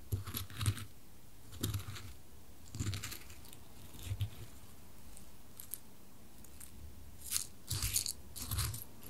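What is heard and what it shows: A small solid dark-wood cube, held in a white-gloved hand, is tipped against square light-wood coasters, first the left one and then the right. The result is bursts of rapid, dry wooden tapping and knocking with short low thuds and bright clicky edges, separated by quiet pauses.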